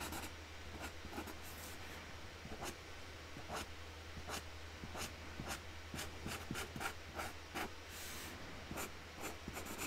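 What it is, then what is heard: Marker on cardboard box lid. A magenta marker nib is rubbed across a flat cardboard box lid as a hand colours in the centre flower. Soft, scratchy strokes come in a steady run of short bright swishes. A constant low hum sits underneath.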